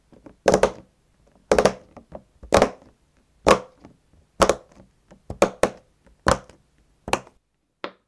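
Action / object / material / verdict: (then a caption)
tap / silicone pop-it fidget toy / silicone / none. A fingertip presses the hollow push-in bubbles of a round, hand-sized rainbow silicone pop-it fidget toy one by one as it lies flat on a white table, tapping them down onto the tabletop. About a dozen short, dull popping thunks come at an uneven pace, each with a mid-toned knock near 490 Hz and a bright click edge. Each pop dies away almost at once.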